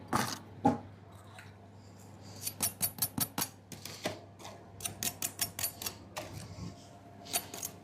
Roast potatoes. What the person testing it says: see if you can have a listen to how crispy these things are